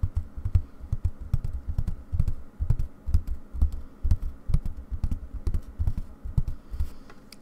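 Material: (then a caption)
Fabric. Long painted nails rapidly tap and scratch taut white aida cloth stretched in a wooden embroidery hoop resting on a table. The result is a fast, uneven patter of dull, low, drum-like thumps with almost no ring, dotted with faint bright scratchy ticks.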